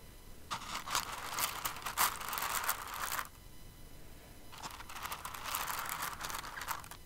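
Fingertips and nails dig into and stir a pile of flat-back plastic rhinestones in an open clear container held in the palm. A dense, bright, crinkly clatter of many tiny pieces rattling together runs for about three seconds, pauses briefly, then returns for a second stretch of stirring.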